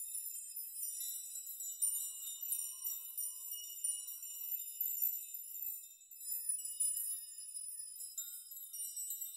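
A large curtain of many long hanging steel nails is pushed and rocked by both hands and fingers so the nails clink together. The result is a quiet, continuous wash of bright, high metallic tinkling with irregular swells and no low end.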